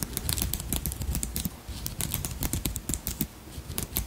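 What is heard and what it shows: A palm-sized dragonfly brooch made of beads, purple crystals and metal wire is held in the hand while long nails tap and scratch over its beaded body and wings. The result is a rapid, uneven run of small, bright clicks and scrapes over a low rumble, each tap dying away almost at once.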